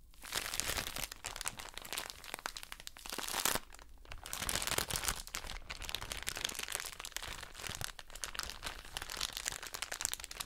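A soft plastic drawstring bag full of cotton wool pads is crinkled and squeezed with the long nails of both hands. It makes a dense, continuous bright crinkling and crunching, with crisp crackles, little low end and a brief quieter dip near the middle.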